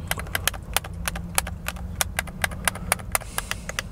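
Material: Plastic.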